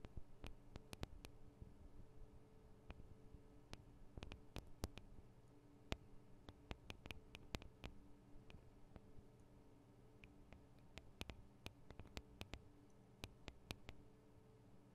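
Long decorated acrylic nails on both hands tap the two small, hollow X-Y microphone capsules, with metal grilles and plastic housings, on top of a black plastic Tascam DR-40 handheld recorder. The quiet, sharp, bright clicks stop almost instantly and come in an irregular, steady stream across the clip. Beneath them runs a faint, steady low hum.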